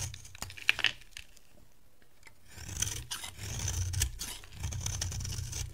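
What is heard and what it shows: A beige oval bar of dry solid soap, held in the hand, is scraped and shaved with a metal box-cutter blade. Sharp, dry rasping scrapes and brief clicks open the clip, then a quiet pause gives way to longer, steadier shaving strokes. The strokes carry a bright, crisp hiss over a low rumble.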